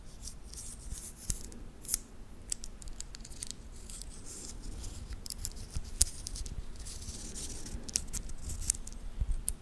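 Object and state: Titanium watch band.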